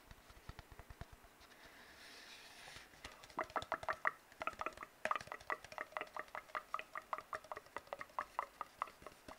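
An empty, hollow brown cardboard tube is tapped and rubbed with fingertips and nails. Soft, quick taps give way to a brief stretch of dry rubbing. Then comes a long run of rapid, hollow-sounding taps with a resonant mid-range tone that dies away almost instantly after each hit.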